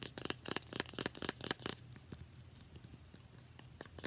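Long nails rapidly tap and scratch a small, partly filled, translucent plastic facial spray bottle with a paper label. A quick run of bright, clicky taps fills the first half, then gives way to quieter, rustling scratches with occasional light ticks.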